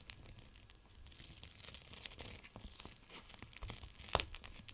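A gel bead cold/hot pack in a clear plastic pouch is folded and squeezed by fingers with long nails. The result is a steady, quiet crinkling and tearing-like crackle of plastic with many small ticks and crunches, building to one sharper, brighter snap near the end.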